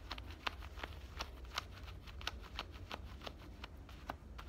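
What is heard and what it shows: Fingernails scratch at the pocket opening and seam of worn black denim cutoff shorts, making about 16 short, dry scratching strokes in an uneven rhythm. Each quick rasp is bright and papery, with energy centered near 1 kHz and stretching high, over a quiet low rumble, and each stroke stops with almost no ring.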